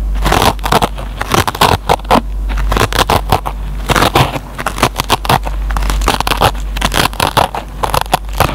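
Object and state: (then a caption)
Dry kitchen sponge with nylon scouring pad. A metal pen tip picks and scratches at the fibers of a dry kitchen sponge's green nylon scouring pad. The result is a dense run of short, crackly, crunching scrapes in quick irregular bursts, with a steady low hum underneath.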